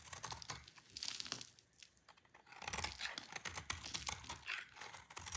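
A solid oval bar of dry green soap, held in a hand with long painted nails, is shaved and scraped with a utility knife blade as shavings fall away. It makes quiet, dry, crisp crackling and scratchy scraping strokes, mostly bright, with a short lull near the middle before the shaving picks up again.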